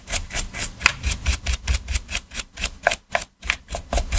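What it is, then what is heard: Plastic game controller being brushed. Gloved hands scrub the surface of a black PS4 controller, a hollow hard plastic shell lying on a dark mat, with a small stiff detailing brush. Quick back-and-forth strokes give a steady rhythm of bright, scratchy bristle rasps over a dull, hollow low thump. The strokes break for a short gap just after three seconds before resuming.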